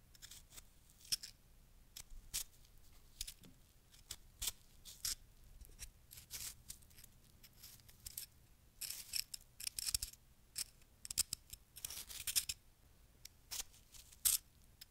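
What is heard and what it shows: A fist-sized, solid lump of packed snow held in the palm is cut and scraped with a small wooden-handled carving tool with a metal tip, breaking apart as it goes. Bright, crunchy scrapes and crisp snips come in short bursts separated by quiet pauses, with denser scraping toward the end over a faint low hum.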